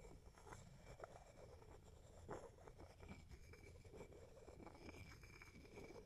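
A wooden pestle held in the fingers is tapped and rubbed around inside a small, hollow, empty wooden mortar held close to the mic, with long fingernails also touching the wood. Quiet, dull wooden knocks and short scraping rubs sit over a steady low rumble, and each tap dies away quickly.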